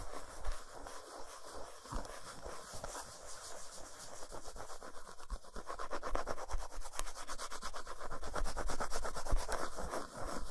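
Long nails rapidly rub and scratch the flat, smooth back side of an unwrapped solid dark chocolate bar lying on a towel. The result is a dense, dry, rhythmic scraping with a bright, hissy edge and soft low thumps, growing louder and busier in the second half.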